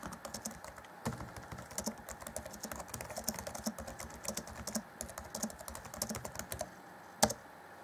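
Fingertips of both hands type steadily on the black plastic chiclet keys of a grey Acer Chromebook C20 (2014) laptop keyboard deck. The result is a quick, uneven stream of short, dry, light clicks with bright tops. After a brief pause near the end comes one louder, sharper key strike.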